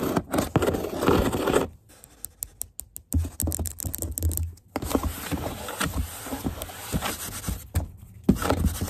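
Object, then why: Large corrugated cardboard box. Long nails scratch across the printed side of a large, hollow corrugated cardboard box. Dense, dry scraping with a low, hollow body comes in bursts. Quieter stretches in between carry short, sharp ticks.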